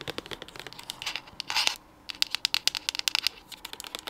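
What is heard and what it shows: Long acrylic nails tap and scratch quickly on a pink-white plastic cosmetic squeeze tube, making rapid, bright, dry clicks with almost no low end. A short, louder scraping burst is followed by a brief pause, then the fast tapping resumes.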